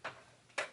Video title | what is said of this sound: Makeup Use Up 2019 ~ 3rd Quarter Update - Jessica Lee | you can't even really hear it when you shake it